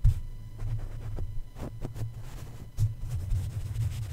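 A plush toy's paw and feet tap and rub against the hollow black metal mesh grille of a red condenser microphone. The result is soft, muffled low thumps and a deep rumbling hum, with faint brighter brushing streaks over the top.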